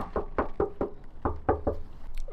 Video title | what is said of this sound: My New Project Car Unveiled! | that's Hollow it's got no petrol